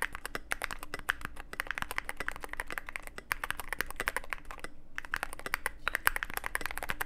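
Steady fingertip typing on a Cyberboard mechanical keyboard with plastic keycaps and a black aluminum case. Rapid, crisp clacking keystrokes with a bright, mid-high tone follow one another, with a brief pause just before the five-second mark. A faint low hum sits underneath.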